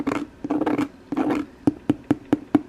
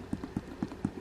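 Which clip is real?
The second.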